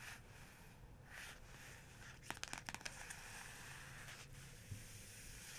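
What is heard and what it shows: Fingertips and long nails trace and tap across the large, flat, stained printed paper cover of a photography book lying on a fluffy rug. A soft, steady papery swishing runs under a low hum, broken midway by a quick burst of sharp, dry taps that die away instantly, then the quiet tracing continues.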